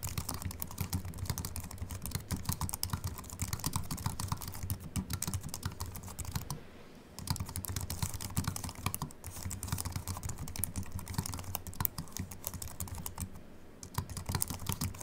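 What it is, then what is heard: Slim aluminium and plastic keyboard. Both hands type continuously with their fingertips on a slim Apple Mac keyboard with an aluminium body and white plastic keys. The result is a rapid stream of short, soft key clicks with dull, low-heavy thuds and a little bright tick on top. The typing pauses briefly around 7 seconds and again near 14 seconds.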